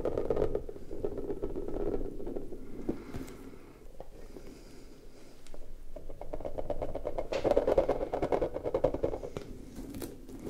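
An orange, soft, spiky rubber puffer ball is squeezed and kneaded with fingers while its spikes and stretched surface are rubbed. The result is a dense, continuous run of close rubbery squeaks and scrapes centred in the midrange, loud at the start, dipping quieter around four to five seconds, then swelling again toward the end.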